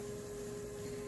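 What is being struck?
Nothing is struck.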